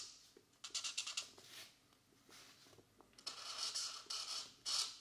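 A felt-tip marker makes repeated short rubbing strokes on the thin paper page of an open paperback coloring book, which stays in place throughout. The strokes come as bright, dry scratchy bursts in two clusters separated by a quieter stretch, with high hiss and almost no low end.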